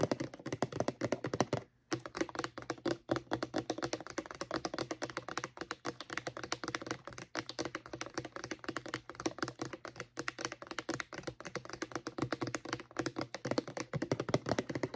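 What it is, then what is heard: Plastic mouthwash bottle tapped with fingernails. Long painted nails rapidly tap the sides and label of a medium-size, hollow white plastic Crest mouthwash bottle, its contents not visible. The result is a dense stream of short, dry, hollow clicks with a mid-low body around 375 Hz and little ring. The tapping runs continuously for 15 seconds, apart from a brief pause just before the 2-second mark.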